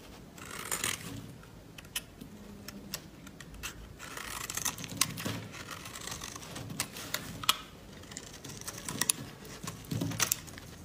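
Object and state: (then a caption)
Laundry soap bar being carved. A solid yellow laundry soap bar, held in gloved hands, is carved and scraped with a metal blade, giving quick, dry, bright scratching and crisp clicking sounds with short sharp peaks. Curls of dry soap break off as the blade cuts.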